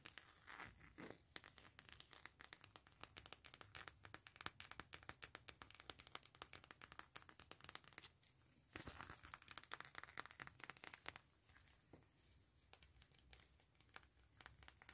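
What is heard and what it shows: Long glittery nails rapidly scratch and tap the surface of a long, thin, flat gray map-print coated canvas wallet as it is held up and then laid down, with a brown wallet lying untouched nearby. The sound is a quiet, dense stream of dry, crinkly scratches and sharp clicking taps that die away almost instantly and carry a bright, papery edge. The activity briefly thins out around the eight-second mark before picking back up.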